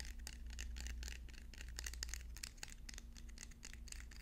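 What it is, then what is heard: Wooden pencils. Wooden pencils are tapped rapidly, producing a quick stream of short, bright clicks and ticks. A steady low hum sits underneath the tapping throughout.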